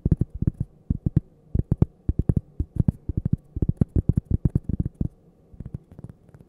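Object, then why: Cork coaster. A thin, solid cork coaster, held edge-on next to the microphone, is tapped and scratched with long painted fingernails. Rapid, dull, low thuds with very short decay come in quick clusters, some topped with faint bright clicks, over a soft low hum. The tapping grows quieter toward the end.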